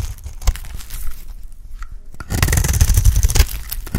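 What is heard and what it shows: An embossed oval bar of dry, solid pink soap is scraped with a box-cutter blade. It makes crisp, crunchy scraping strokes in an irregular rhythm with a low thud. A quieter, sparser stretch in the middle gives way to denser, brighter scraping toward the end.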